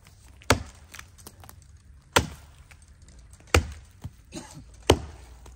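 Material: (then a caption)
Wood. The base of a tree with root rot and a swollen buttress is struck to sound it out, giving four dull, hollow thuds and one lighter knock, each with a short, low-heavy decay. The trunk is found to be hollow.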